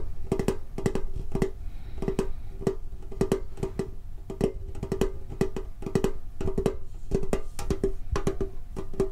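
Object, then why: Hollow metal tin with lid. Fingertips tap rapidly on the lid of a rectangular, hollow metal Pokemon trading card tin held low. The taps come in quick, uneven clusters of dry, hollow clicks, each ringing only briefly with a faint tone near 390 Hz. The tapping continues steadily for about nine seconds.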